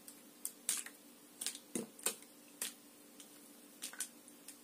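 A clear, crinkled, hollow and empty plastic water bottle with an orange cap is held close and scratched and squeezed with long nails and fingers. It gives a quiet series of sharp, bright crackles and clicks that die away quickly. A faint, steady low hum runs underneath.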